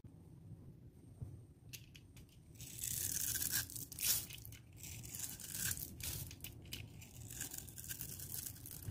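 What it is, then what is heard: Dry bar soap being scraped and cut. A metal utility knife blade scores, scrapes and cuts a solid, dry, palm-sized green bar of soap held in the hand, sending green shavings falling away. The sound is a series of bright, crisp scraping and crunching strokes over a low background rumble, with the loudest rasping cuts in the middle of the clip.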